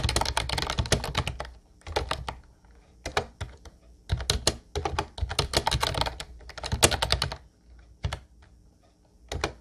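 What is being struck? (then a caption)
Plastic keyboard with round keycaps. Fingertips type on a light blue plastic Ubotie retro keyboard with round white keycaps, producing bursts of rapid, clacky keystrokes separated by short pauses. Each press gives a bright plastic click over a dull low thunk that dies away almost instantly.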